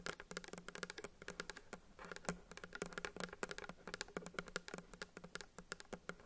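Long acrylic nails tap rapidly on a pink plastic bottle of nail polish remover with a paper label, which appears filled with liquid and is held in both hands. The result is a quiet, fast stream of crisp, bright clicks with a hollow plastic knock beneath them, each tap dying away almost instantly.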